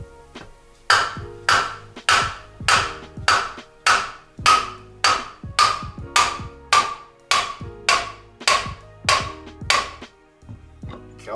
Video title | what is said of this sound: Kurbelwelle im Gehäuse zentrieren / Goose Racing | normalerweise hört man dann auch ein bisschen einen Unterschied im Klang, wie sich das Ganze sozusagen entspannt und wie das Ganze dann zentriert wird